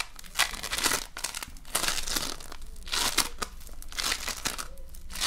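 A soft, solid lump of colorful polystyrene foam beads in slime (floam) is squished in the palm and pressed with fingers. It gives off irregular bursts of bright, crinkly crackling and popping that rise and fade over the clip.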